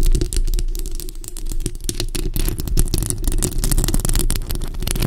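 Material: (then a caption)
Metal mesh. Long acrylic nails scratch and tap the hollow metal mesh grille of a bare black microphone. The result is a dense, continuous stream of quick, sharp clicks and scrapes over a heavy, boomy low rumble.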